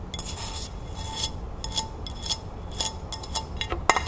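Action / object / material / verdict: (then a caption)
scrape / ceramic dinner plate / ceramic / none. Long nails tap and scratch the underside of a white ceramic dinner plate held by hand. Quick, light ticks mix with bright rasping scrapes, and a faint ring lingers around 1 kHz over a soft low rumble.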